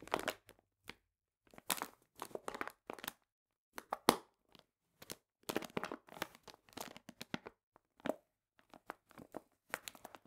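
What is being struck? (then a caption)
Paper bag filled with cane sugar. A medium printed paper bag full of cane sugar is squeezed and crinkled with fingertips. Quiet, dry bursts of crinkling and gritty crunching come in irregular clusters separated by brief silences. The sound is bright, with almost no low end and no lingering ring.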